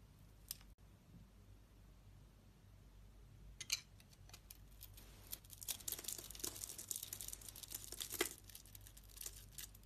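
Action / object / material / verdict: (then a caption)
scrape / bar of soap scraped with a metal blade / soap / none. A solid rectangular white bar of soap decorated with colored mosaic squares is held in the hand while the decoration is scraped off with a metal utility knife blade. A few sparse scrapes at first give way to dense, crisp, bright scratching and crumbly shaving sounds. A low steady hum sits underneath.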